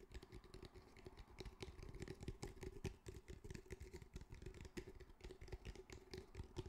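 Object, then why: Fabric-covered cylindrical speaker with a hard hollow body. A grey fabric-mesh cylindrical speaker with a hard hollow body is tapped with the fingertips of both hands, at one point tilted and tapped on its side. The result is a quick, continuous run of soft, dull, low-heavy taps that die away almost instantly, over a faint steady mid-range tone.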